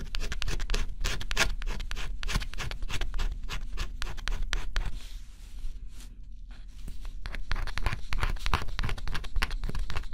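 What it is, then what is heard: Scratch-off cardboard puzzle being scratched. A stylus held in the fingertips scratches the black scratch-off coating on a flat, thin, coated cardboard jigsaw puzzle. Quick, irregular, bright scratching strokes come at about three to four per second over a steady low rumble. They thin out to a softer, quieter stretch around the middle before resuming at full pace.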